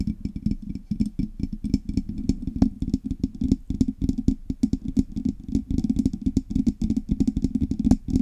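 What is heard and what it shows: Long red nails on both hands tap and scratch the hollow, painted metal body of a silver Blue Yeti microphone with knobs. A steady stream of quick, dry taps gives dull, low-mid thuds that die out almost at once. Fainter bright clicks and scratchy ticks run over the top.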